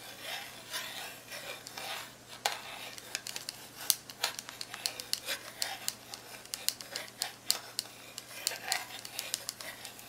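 A long-nailed fingertip presses and taps the plastic keys on the keypad of a black plastic graphing calculator, making dozens of sharp, bright clicks. The clicks are quiet, crisp and dry, die away almost instantly, and sit over a faint, steady low hum.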